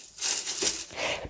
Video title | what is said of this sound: Easy Lemon Balm Lip Balm Recipe (lip salve for cold sores) | after just 2 hours the leaves are fully dyed and you can hear how crispy they are